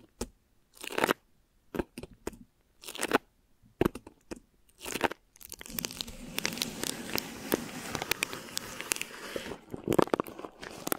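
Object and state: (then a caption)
Plastic wrap over a microphone, scratched. Long nails and fingertips scratch thin plastic wrap stretched over a microphone head, making close, bright crinkling and crackling. For about the first five seconds it comes in separate short scratchy bursts with quiet gaps between them. It then becomes a continuous dense rustle dotted with sharp ticks until the end.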